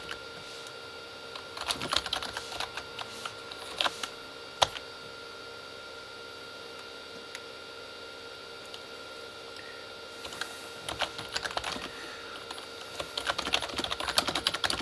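Fingertips of both hands type on a Corsair K35 plastic membrane keyboard with red backlit keys, pressing fewer keys than usual. Short, bright plastic clacks come in scattered bursts near the start and again toward the end, with a quiet stretch between. A faint steady hum sits underneath throughout.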